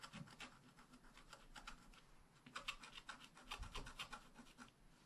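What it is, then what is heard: Wax-coated scratch art paper being scratched. A wooden stylus scratches the basket flowers and the grass into a flat wax-coated scratch art paper sheet held down by one hand. Quick, irregular dry scratching strokes with a bright, raspy texture come about four per second, growing louder in the second half of the clip.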